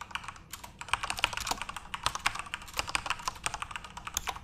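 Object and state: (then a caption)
Plastic keyboard being typed on. Fingertips type continuously on a backlit plastic Corsair mechanical RGB keyboard. A rapid run of short, bright clicks and clacks rises above a faint low hum, and each keystroke cuts off almost instantly with no ring.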